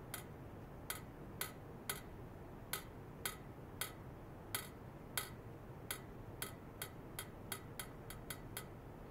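A thin metal rod held upright taps the top of a long hollow stainless steel pipe, about 1 m, lying horizontally on stands with white foam mesh sleeves and a clipped-on probe. Eighteen short, bright, dry ticks come at uneven intervals, speeding up toward the end, each dying away almost at once over a steady low hiss.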